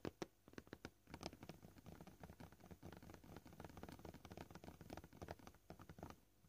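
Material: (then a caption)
Plastic. Short purple fingernails tap on a flat, solid, white, scratched plastic cutting board. The taps come in quick, uneven bursts of soft, dull clicks with a low thud, a few sharper ones at the start, and each dies away almost at once.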